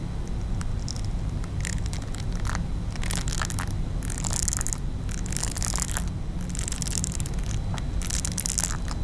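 Long nails scratch across the nubbed surface of a small round pink silicone facial cleansing brush held up close. Repeated bright, crackly scratching bursts rise and fall over a steady low hum.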